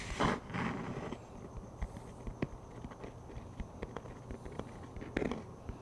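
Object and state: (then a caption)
Plastic frisbee disc. Fingertips tap on the top surface of a plastic frisbee disc held flat. A series of short, dull, hollow taps lands irregularly over a soft background hiss, with louder, fuller bursts near the start and the end.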